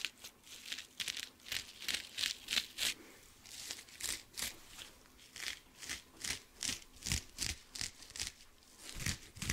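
Fingernails scratch and rub a dry blue kitchen sponge with a porous cellulose side and a scouring pad side. The result is a quiet run of short, bright, crinkly scraping bursts in a loose, uneven rhythm, with little low end and almost no ring after each stroke.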